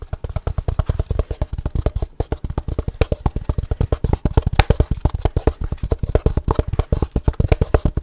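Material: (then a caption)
Wood. A small, light-colored wooden gift box with its sliding lid open, hollow inside with a dark insert holding cutlery, is held in both hands and scratched and tapped with fingertips and nails. It gives a fast, steady stream of short, dry, hollow knocks, about 45 in all, deep and thumpy with faint scratchy clicks on top. Each knock dies away almost at once.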